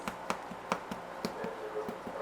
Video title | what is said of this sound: FRENCH STICKS RECIPE | that sounds hollow that means they're ready